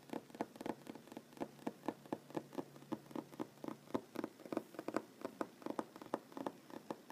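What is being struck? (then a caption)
Wooden tabletop. A solid wooden tabletop with board seams is tapped and lightly drummed with short nails and fingertips, mostly with one hand. About thirty quick, dry, quiet taps sound in a steady, slightly uneven rhythm. Each has a hollow midrange knock near 310 Hz that dies away almost instantly.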